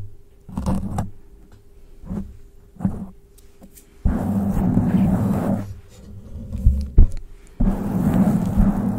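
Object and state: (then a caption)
Foam microphone windscreen. Long pointed glittery acrylic nails on both hands scratch a black foam windscreen covering the head of a grey metal studio microphone. Short bursts of muffled, low scraping give way to longer stretches of dense, rumbling rustling against a faint steady hum.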